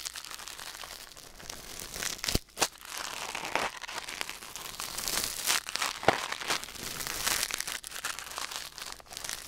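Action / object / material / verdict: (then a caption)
scrape / silicone ear on a binaural microphone, scraped by metal tweezers / silicone / none. Metal tweezers held in the fingers scrape and pick inside the ear canal of a white silicone ear mounted on a black binaural microphone. The result is close, bright, crinkly scratching and rustling in an irregular stream, with a few sharper clicks standing out.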